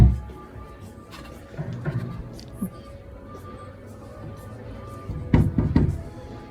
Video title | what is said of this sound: 2025 Cabinet Tariffs Explained: What Homeowners Need to Know | this door features a solid Center panel which makes it heavier and quieter compared to a standard 3/16 of an in center panel door as you can hear it when I tap on it